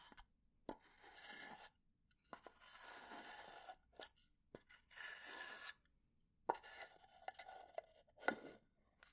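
Fingernails slowly scratch and tap along the grain of a small hollow pine wood box. Three long, bright, rasping scratch passes alternate with sharp, dry taps that die away almost instantly, with quiet gaps in between.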